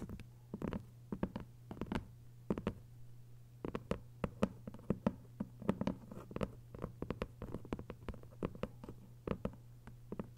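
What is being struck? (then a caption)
Hardcover book with paper dust jacket. Long acrylic nails tap and lightly scratch the paper dust jacket on the front cover of a closed, thick hardcover book lying flat. Many quick, dry, soft clicks come in uneven bursts and flurries over a steady low hum, with faint scratchy brushing between taps.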